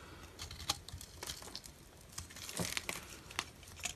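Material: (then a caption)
Soap. A utility knife blade scrapes and carves crumbly shavings off a solid, palm-sized orange bar of dry soap held in the hand. The result is a dry, bright crunching and crinkling with sharp crackly snaps scattered through a soft scraping hiss.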